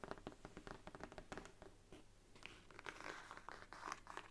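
A thick Bible stands upright while long nails scratch along its gilt page edges, then tap on its brown faux leather spine. Quiet, close scratching and crinkly rasps give way to a run of soft, quick taps with a bright click on top, each dying away almost at once.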